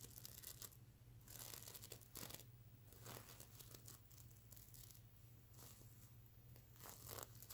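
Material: Plastic sequins.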